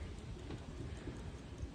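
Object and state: Nothing is struck.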